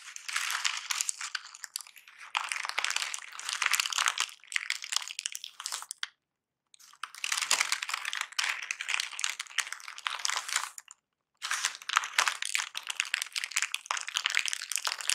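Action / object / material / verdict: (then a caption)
scrape / kraft packing paper / paper / none. Crumpled brown kraft packing paper on a white surface is pressed, scrunched and scratched with nails, making dense, bright crinkling and crunching. The crackle runs in three bursts split by two short silences.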